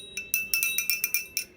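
A metal puja hand bell is rung in a quick series of repeated strikes, right after another bell, for comparison. Each strike gives a bright, high, clinking ring with a clear tone near 2.4 kHz that dies away fast, and there is almost no low end.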